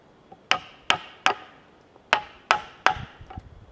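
A wooden mallet strikes a chisel into the end grain of a large, solid cedar log with bark. Six sharp, bright knocks land in two groups of three, each with a short woody ring around 760 Hz. Faint light taps sound between the strikes.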